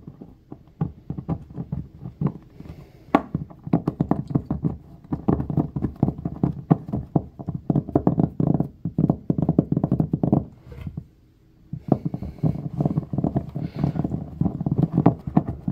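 Fingernails scratch and carve into the top of a solid white Dove bar of soap lying on a wooden table, building up soap shavings on the table. The sound is a dense run of quick, dull, low scraping taps with almost no ring, pausing briefly near the eleven-second mark before resuming.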